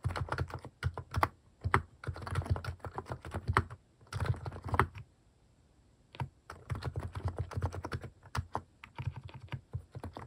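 Fingertips type on a full-size, white-case plastic mechanical keyboard fitted with pastel plastic cat-face keycaps, resting on a desk. Bursts of quick, short, deep-thocking keystrokes come in runs, with a brief pause in the middle before the typing resumes.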